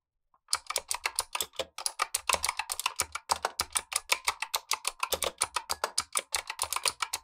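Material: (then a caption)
Plastic. Gloved fingertips type steadily on a black tenkeyless Razer Huntsman V2 mechanical keyboard with clicky switches and plastic keycaps, while a second keyboard sits idle nearby. A continuous run of sharp, bright clicks and clacks with very short decay carries through the clip at an even pace.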